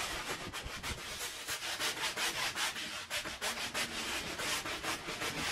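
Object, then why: Woven pile rug scrubbed with a brush through foam. A handheld scrub brush scrubs in circles through thick white foam on a faded, muddy woven pile rug lying flat. The result is a steady run of bright, hissy, rubbing strokes, close to three a second, that swell and fade with each pass, with almost no low end.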